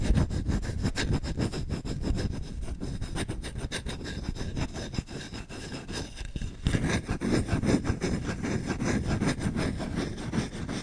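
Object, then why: Wooden spoon. Short-nailed fingertips scratch fast across the bowl of a solid wooden spoon, making a dense, rapid, rough scraping that is heavy in the low end. The scratching eases slightly in the middle of the clip, then returns louder and steady to the end.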